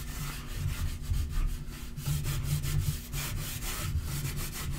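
Fingertips and nails rub and scratch back and forth across a dark wood-grain laminate portable table top. The sound is a steady, low, rumbling friction with bright, scratchy streaks that rise and fall with each stroke.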